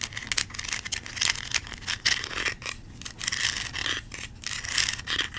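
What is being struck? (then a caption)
Plastic toy corn cob with bumpy kernels. Long nails scratch and rattle across a small yellow plastic toy corn cob with bumpy kernels. The result is a dense run of bright, crackly scraping bursts with a strong band near 2 kHz and very little low end.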